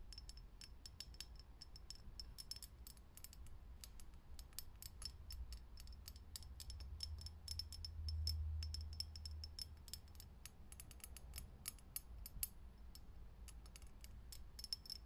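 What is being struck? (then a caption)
Clear glass filament light bulb. Long nails tap fast on a lit, hollow, clear glass vintage filament light bulb. Quick, bright glassy clicks come at about four per second, uneven in rhythm, over a low steady hum.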